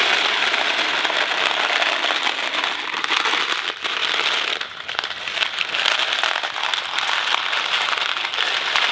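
A small Kraft mac and cheese cardboard box filled with dry pasta is held in one hand and shaken and tilted. The result is a steady, dense, bright rattle of the pasta against the cardboard, with almost no low end and brief dips around 3.8 and 4.7 seconds.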